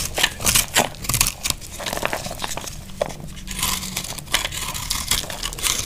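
A small knife scrapes and cuts crunchy shavings from a solid, dry green soap bar held in the hand. Each pass makes a crisp, crackling, bright scrape, and the short bursts follow one another in an irregular run.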